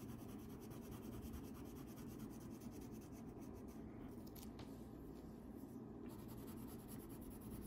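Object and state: Crayon colouring on paper.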